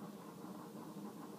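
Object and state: Nothing is struck.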